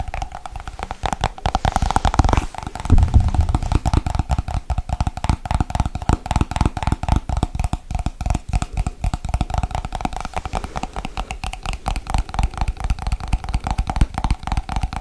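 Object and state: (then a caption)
Plastic cream jar. Fingernails tap fast and hard on the lid and sides of a small, hollow white plastic Nivea cream jar with a lid. A dense, continuous stream of dull, hollow clicks with low thuddy body and a steady mid-range ring runs through the whole clip, briefly louder around the two- to three-second mark.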